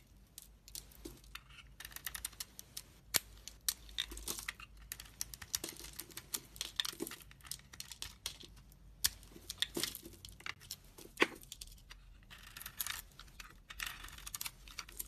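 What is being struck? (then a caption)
Bar of soap. A 100 g solid bar of red Dalan soap with a red coating and a white core is held in the hand while a utility knife blade shaves dry flakes off the white core. Quiet, bright, crisp scraping and cutting crackles come in dense bursts of short clicks, with occasional sharper snaps.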